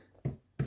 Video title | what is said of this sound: 107 - bezel setting a cabochon in a simple ring | when I tap it on this side it goes down that click means that it's it's not sitting even